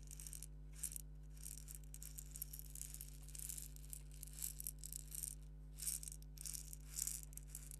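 A small, hollow purple plastic egg shaker filled with salt or sand is held between the fingertips, shaken gently and rubbed with the nails. It makes soft, bright bursts of grainy rattling and scratching. A steady low hum runs underneath throughout.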